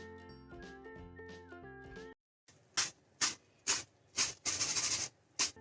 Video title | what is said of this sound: How to make cheeselings at home - Cheeselings recipe - Cheeselings by foodnmagic | I will make you listen to the crisp sound.